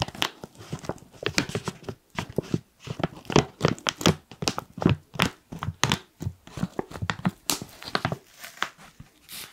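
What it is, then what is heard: Foil-lined plastic coffee bag. A black foil-lined plastic coffee pouch is tilted and crinkled with fingertips along the top. It gives a steady run of short, dry crinkles and crackles with a bright, papery edge and a soft low body, each burst dying away almost instantly.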